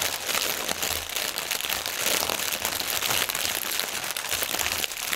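Fingernails scratch and press a strip of inflated clear polyethylene air pillow packaging, hollow and air-filled, lying on a table. A dense, continuous crinkling and crackling, bright and hissy with almost no low end, runs steadily through the whole clip.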